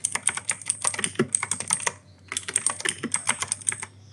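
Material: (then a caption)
Plastic. Fingertips type continuously on an E-Yooso K-620 mechanical keyboard with Outemu Blue switches and grey and white plastic keycaps. About 28 sharp, bright, clicky keystrokes arrive in quick bursts, with a brief pause near the middle before the typing resumes.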